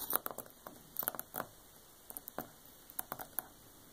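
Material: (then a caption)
Paper, board. Long painted nails on both hands tap and scratch the glossy paper dust jacket of a large, solid, closed hardcover art book lying flat, with a red paper band around it; large rings on the fingers may add light clicks. The result is quiet, dry, sharp nail taps and brief scratchy patters in irregular clusters, with bright clicky tops and almost no low end.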